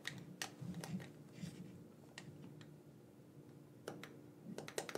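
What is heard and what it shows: A black, wired, hollow plastic gamepad, hand-sized and held in both hands, has its buttons pressed and clicked with thumbs and fingertips. Thirteen sharp, bright, quiet clicks come at an uneven pace, some close together in small bursts. Between them sits a steady low hum, and each click dies away almost at once.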